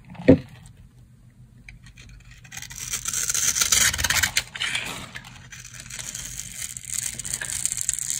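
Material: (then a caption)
Soap. A solid rectangular bar of dry pink soap, held in the hand, is carved with a metal utility knife blade. A sharp knock opens the clip, then crunchy, bright scraping cuts continue as flakes fall off.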